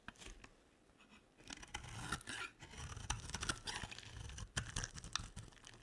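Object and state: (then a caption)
Bar of soap being shaved. An olive-green rectangular bar of dry solid soap is shaved with a utility knife blade. After a quiet start, a series of crisp, crunchy scraping strokes with bright, papery edges follows as thin slivers are cut from the bar.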